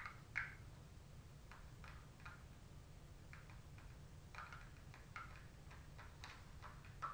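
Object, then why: Cardboard makeup palette. A gold cardboard Anastasia Glow Kit in Sun Dipped makeup palette is held upright, then laid flat on a lap, while long pointed acrylic nails tap and lightly scratch its cover. The result is a series of quiet, dry, clicky taps with short bright scratchy edges over a steady low rumble.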